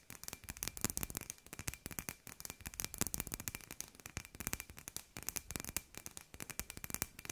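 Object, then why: Hollow glass sphere. Long nails tap rapidly and unevenly on a hand-sized hollow glass sphere with fairy lights inside. Each tap is a sharp, bright click that dies away almost instantly, with a faint steady tone near 2.5 kHz running underneath.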